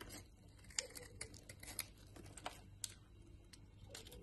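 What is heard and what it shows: A solid white Lux soap bar is shaved with a utility knife blade into dry flakes. Soft, irregular scraping and crumbling is broken by sharp, bright ticks as the blade catches the soap, all over a faint, steady low hum.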